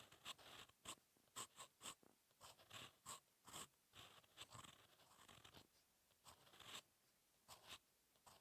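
A steel fountain pen nib scratches across a thin, solid lined paper sheet lying flat on a desk in continuous handwriting strokes. The sound is a quiet series of short, bright, scratchy strokes, separated by brief pauses, with very little low end.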